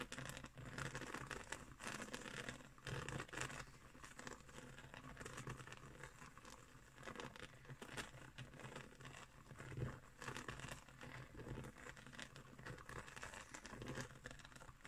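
Long nails scratch along the coils of a round, coiled woven straw trivet. The result is a quiet, steady stream of dry, crinkly scratching with a bright rasp. It swells and dips slightly in brief strokes throughout.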